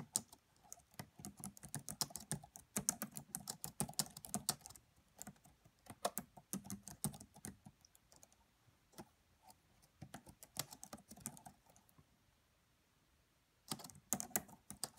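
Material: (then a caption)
Plastic. Both hands type on the black plastic chiclet keys of a red laptop with a hollow body, tapping with the fingertips and long French-manicured nails. Rapid, bright, dry clicks come in uneven bursts with almost no ring. The typing goes quiet briefly near the end, then resumes.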